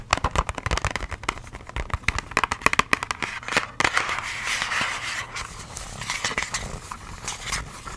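Long acrylic nails tap and scratch the faces of a small, hollow, printed pink-and-white cardboard box of nose pore strips. Quick, sharp, papery taps come first, then give way to a steadier, brighter scratching rasp with more scattered taps near the end.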